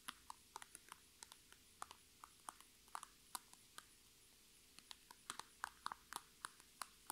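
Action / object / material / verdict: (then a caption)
tap / PVC makeup bag / PVC plastic / none. Long red nails tap and scratch the crinkly sides of a filled, iridescent holographic PVC Sephora makeup bag standing upright. About 26 quiet, sharp, dry taps ring out, each a brief crackle with a bright plastic edge and a tone near 1 kHz, spaced unevenly over a soft, steady background.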